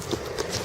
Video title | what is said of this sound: Fossils Tin Can Beach Saint John NB Sep 27 2018 005 | flint there sounds like glass. That is tough as steel.